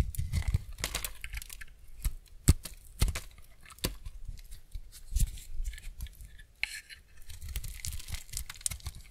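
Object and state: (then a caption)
Semi-dry bar soap. A steel utility-knife blade scrapes and shaves the surface of a solid, embossed, semi-dry white soap bar held in hand. The result is a run of dry, crackly scraping strokes with crisp, bright ticks over a low, dull rumble. A few sharper snaps stand out along the way.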